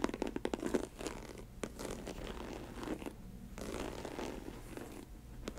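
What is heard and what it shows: Long nails scratch and tap across the upper of an empty snakeskin-print faux leather ankle boot with studded trim. A quick run of sharp taps opens the clip, followed by softer, continuous rasping scratches with a few more distinct taps, the last one near the end.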